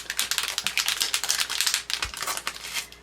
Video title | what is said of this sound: Creative Fridays-Perfect Pearls | You can hear that mixing ball going in there.